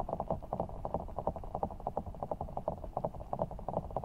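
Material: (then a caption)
Water gel. A large, full, soft ball of blue water gel beads in a clear rubber skin is held over the microphone while fingertips squeeze and rub it. The result is a quick, uneven run of soft, muffled squelches and squishes, with warm low-mid body and almost nothing high.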